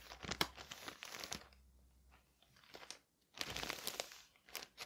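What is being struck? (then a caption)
Parcel wrapped in thin paper. Fingertips and a palm rub and press across a flat parcel wrapped in thin white paper on a table, making bright, crisp crinkling and crunching bursts. The paper rustles in uneven waves, fades to near silence for a moment, then crinkles again.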